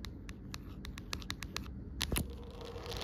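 Long nails tap and scratch the back and rim of an empty, amber-tinted clear plastic phone case lying on a woven rug. Quick, dry, irregular clicks mix with brief scratchy rasps, with a denser flurry of scraping toward the end over a steady low background hum.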